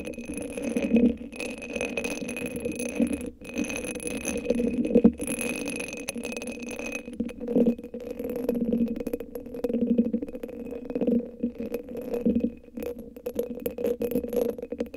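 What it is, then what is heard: Rhinestone-covered cylinder sleeve. A hand-sized hollow cylinder covered in purple rhinestones, sitting on top of a microphone, is scratched and tapped with long acrylic nails. The result is a dense, continuous rattling scrape with a warm mid-low body and faint bright glints. Small clicking peaks rise throughout, with brief quiet gaps.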